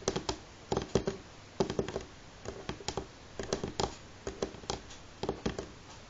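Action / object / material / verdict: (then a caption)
tap / wooden table top / wood / none. Fingernails of both hands tap rapidly on a solid, light wooden table top in a typing-like pattern. The clicks come in short, uneven clusters, each with a brief woody knock centered near 390 Hz and a bright edge that dies away almost instantly.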